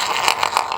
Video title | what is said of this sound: Stickit Pro Stair Repair | you can hear the noise not too bad in some areas but very Hollow in others